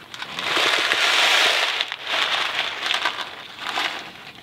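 A small Kraft macaroni and cheese cardboard box filled with dry pasta is held in one hand, tilted and shaken. The pasta gives a bright, dry rattle and rustle in several swelling waves, with crisp crackling clicks and no low end.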